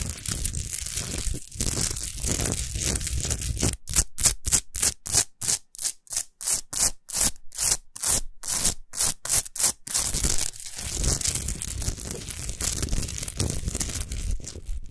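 Long nails scratch and fingertips rub the rough sides of a tall, solid orange Himalayan rock salt lamp. The result is a bright, gritty rasp with a low rumbling body. Continuous scratching turns into a run of quick, rhythmic strokes in the middle, then settles back into steady rubbing.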